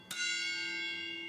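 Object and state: Railway wheel tapping test.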